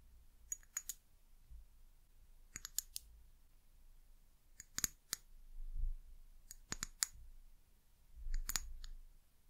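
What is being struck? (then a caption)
Small amber glass bottle. A small amber glass eucalyptus oil bottle with a paper label and a white plastic cap is held in the hands and tapped and scratched with long acrylic nails. It produces five short clusters of sharp, bright clicks that die away almost instantly, separated by quiet stretches with a soft low rumble.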